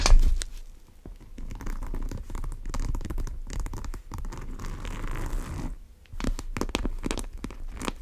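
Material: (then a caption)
Coated canvas. Long nails tap and scratch along the top edge and zipper area of a large brown monogram coated-canvas tote bag with tan leather straps. The result is dense, dry scratching and quick taps with a crinkly, tearing texture and mostly low, muffled body, broken by brief quiet pauses near the middle and later in the clip.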